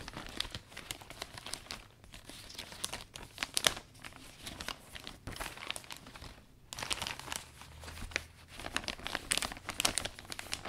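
Fingertips and palms fold and squeeze the thin, flexible canopy of a closed, butterfly-print vinyl umbrella stretched over metal ribs, as the new umbrella is wiped down for cleaning. Dense, bright crinkling and sharp crackles run throughout, with brief quiet gaps near 2 and 6.5 seconds. The sound has little low end and no lingering ring.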